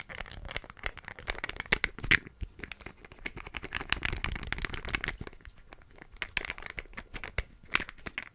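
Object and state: Glass perfume bottle.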